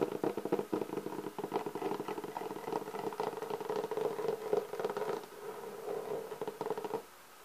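Fingertips and nails of both hands tap and scratch the top of a black, pebble-textured hard-shell clarinet case held upright. The result is a dense, continuous patter of light taps and scratches with a hollow, mid-pitched resonance. It stops abruptly just before the end, leaving a faint quiet tail.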